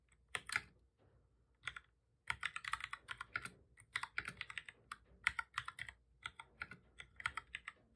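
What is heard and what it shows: Both hands type steadily with their fingertips on a full-size black plastic computer keyboard with a hollow body, resting on a desk. Quick, dry, bright key taps come in dense bursts, with a couple of short pauses near the start. Each click stops at once with almost no low end.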